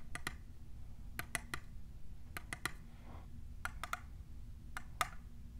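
Long nails fitted with plastic clips tap a tall, hollow, clear printed plastic tumbler cup. Thirteen short, dry, bright clicks fall in loose groups of two or three, each with a brief hollow ring near 1.25 kHz. A low, steady rumble sits underneath throughout.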